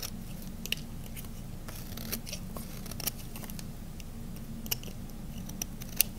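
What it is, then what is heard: Bar soap being carved. A small metal blade carves thin slices from the edge of a solid cream-colored bar of dry to semi-dry ivory and white soap. Quiet, crisp scraping and sharp little snaps with bright edges come and go. They sit over a steady low hum, with a few louder clicks standing out.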